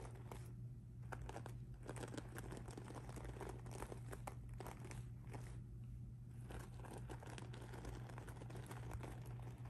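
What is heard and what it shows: Fingertips with blue-painted nails scratch and rub across a medium-sized soft handbag of pink sparkly rhinestone and metal mesh lying flat. The result is a quiet, continuous crinkly scratching with dense bright ticks and rustles. A steady low hum runs underneath throughout.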